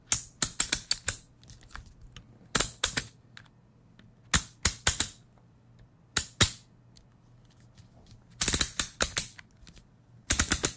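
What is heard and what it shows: Fingers click and tap the comb guard of a handheld plastic electric shaver or trimmer with a metal-look head. Sharp, bright plastic clicks come in quick clusters separated by short pauses, each one very brief, over a faint steady low hum.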